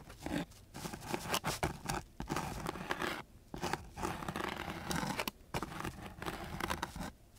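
A flat wooden stick is scraped across the grit of a coarse sheet of sandpaper in a quick series of short strokes, separated by brief pauses. Each stroke gives a rough, dry scratch with a broad, gritty hiss that reaches up into bright high tones.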